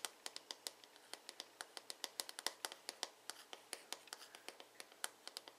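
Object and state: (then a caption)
Plastic hairbrush back. Fingertips and nails tap and scratch the smooth, glossy blue plastic back of a paddle hairbrush with a hollow shell. About 34 quick, dry, bright clicks come in an uneven, quiet run, each dying away almost at once, with faint scratchy texture between them.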